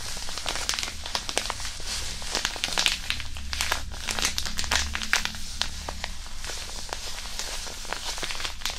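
A small, flat, white disposable hand warmer, a non-woven fabric pouch filled with granular iron powder, is held in both hands near a binaural mic and crumpled and squeezed with the fingertips. It gives a steady stream of dry, bright crinkling and gritty crackles over a low rumbling undertone.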